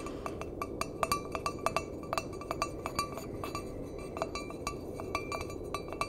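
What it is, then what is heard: Empty stainless steel mug. An empty stainless steel mug with a handle is tapped on its side with fingertips and nails, producing a quick, uneven series of short, ringing metallic clinks. Each tap has a clear tone around 656 Hz with bright upper overtones and dies away almost at once. A steady low hiss runs underneath.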